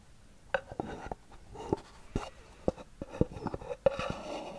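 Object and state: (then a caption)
Cardboard gift box. A small, hollow white cardboard gift box with a gold band is held in both hands and scratched and tapped with long nails. About eleven short, dry, hollow taps stand out over a soft, continuous scratching rustle. Each tap dies away almost instantly.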